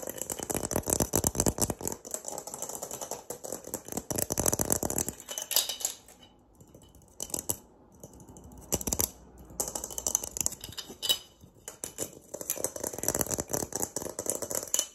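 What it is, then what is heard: Sea urchin shell. A dried, hollow, empty palm-sized sea urchin shell (calcareous test) with a bumpy textured surface is held up close and rapidly scratched and tapped with fingertips and fingernails. The result is fast, dense, crisp clicking and rattly scratching, bright and dry with almost no ring. It thins out to quieter scattered taps in the middle before building back into busy scratching.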